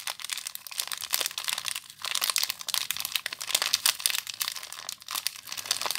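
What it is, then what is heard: Plastic-wrapped soap bar. Fingertips and long nails crinkle and squeeze the clear plastic wrap around a small soap bar. The result is a dense, steady stream of sharp, bright crackles and crinkles with no low end.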